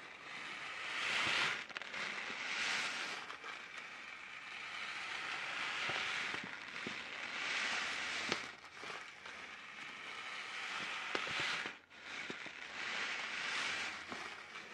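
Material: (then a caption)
Plastic film. A sealed, hand-sized orange printed plastic-film Taiyo snack packet that appears filled is held in both hands and crinkled, flexed and shaken with the fingertips close in front of the mic. Bright, crackling crinkles rise and fall in repeated swells, with a few sharp snaps standing out over the rustling.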